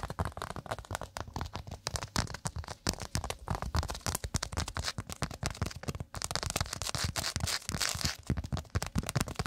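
A round, flat, thin solid cork pot stand held beside the microphone is rapidly scratched and tapped with long acrylic nails. The result is a dense, continuous stream of dry, crackly scratches and quick dull taps, with a soft low thump beneath a bright, rough texture. Each sound stops almost instantly with no ring, and the intensity holds steady throughout apart from a brief dip near six seconds.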